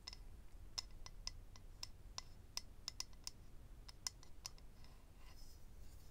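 Fingernails tap and scratch across the surface of a small, hollow, rectangular clear acrylic eyelash case holding rows of lash strips. About fifteen short, sharp, bright clicks sound at an irregular pace, each with a brief high glassy ping, over a faint low background rumble.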